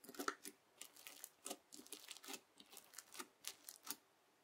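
A white plastic fork digs into and lifts through a lump of red bead-filled slime (floam) resting on a white table. It makes a quiet, rapid series of short, bright, crunchy crackles with no low end, each burst dying away almost instantly.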